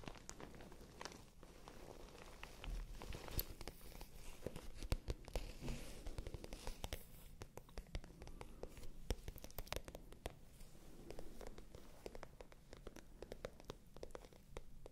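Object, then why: Patent leather clutch bag. A small pale pink glossy patent leather clutch bag, hollow and flat, is scratched and tapped with long manicured nails close to the microphones. The result is a continuous stream of dense, quick scratching and light tapping with short crackly clicks and a soft, low-weighted body.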